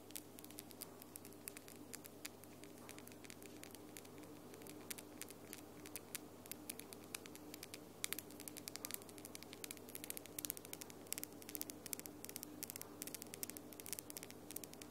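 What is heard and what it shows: Long glitter acrylic nails are tapped and clicked against each other by the nails of the other hand, making quick, bright, dry clicks with almost no ring. The taps start soft and sparse, then grow faster and sharper from about the midpoint, over a faint steady low hum.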